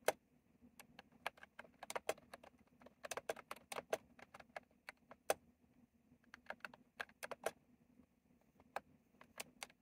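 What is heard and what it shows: Fingertips slowly type on a retro plastic mechanical keyboard with round plastic keycaps, making about thirty sharp, bright clicks with very short decay, some in quick clusters and some spaced out. A faint, steady low hum sits under the quiet, uneven typing.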